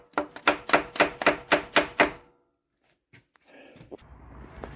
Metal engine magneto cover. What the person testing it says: banging on it I had a solid sound now I got like a hollow